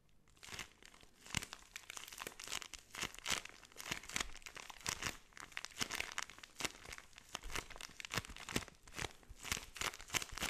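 A clear zip-lock plastic bag full of pink kinetic sand is pressed and rubbed with the thumb and fingertips, making the bag crinkle. Quiet, bright crinkling and crackling comes in quick, dry bursts throughout, with very little low end.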